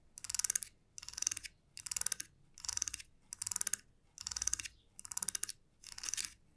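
A fingernail strums and flicks the teeth of a small solid wooden comb resting on a felt mat. Eight quick strums, evenly spaced, each make a rapid run of dry, bright ticking clicks with short silent pauses between them. The sound is crisp and high, with almost no low end and no ring after each click.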